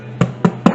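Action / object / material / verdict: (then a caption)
knock / wheaten bread in a metal baking tin / bread / hollow. Three knocks on the bottom of the baking tin holding a wheaten bread just out of the oven, after about 35 minutes of baking. Each knock is a short, dull, hollow thud centered low around 180 Hz. The hollow sound shows the bread is baked through.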